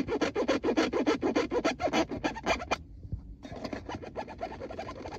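Fingertips and nails scratch and tap a textured plastic gear selector plate marked P R N D, a flat panel over a hollow console. Fast, fairly regular rasping strokes with a mid-range, hollow scratch run for nearly three seconds. After a brief near-silent pause, softer, quicker scratching resumes.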